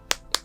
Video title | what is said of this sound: Is the Samsung A41 worth it in 2026?! (Samsung A41 review) | if I tap this see it feels really really Hollow